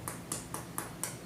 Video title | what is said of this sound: Instant Vortex Plus Rotisserie Pork Roast | hear how crispy the top is that's pretty crispy right perfect